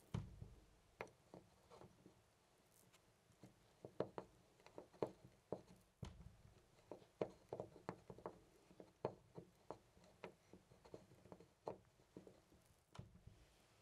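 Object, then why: Brass metal door knob. A loose brass-finish metal door knob on a white panel door is gripped by hand and rattled and jiggled. About thirty quiet, dry clicks and clacks come in uneven bursts, centred in the mid-range with a low thump under some, and die away almost at once.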